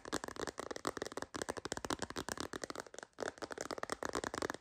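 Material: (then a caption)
Plastic. Long nails tap rapidly on the edges and back of a clear MagSafe phone case with a purple bumper. The result is a dense, quiet stream of dry plastic clicks with almost no ring and little bass, centered in the midrange with some bright edge. The tapping briefly pauses near 1.3 and 3.1 seconds.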